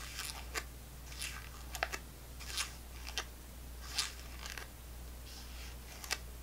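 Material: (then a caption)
Plastic. A small, clear, full plastic apple sauce cup held in the hand is tapped and scratched on its side and rim with long nails. About 13 sharp, bright clicks and crinkly scrapes stand out over a steady low hum.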